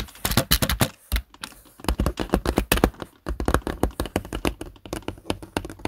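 Fingertips type on the keys of a black plastic desktop keyboard, producing quick, sharp clicking taps in uneven bursts. Short pauses separate the runs, and each keystroke dies away almost instantly.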